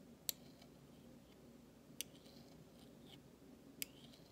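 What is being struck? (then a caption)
Large stainless steel spoon bowl. A flat metal utensil handle scrapes across the bowl of a large, thin, solid stainless steel spoon. Three sharp, bright metallic clicks are heard, spaced well apart, each with a short high scraping tail that dies almost instantly over a quiet low hum.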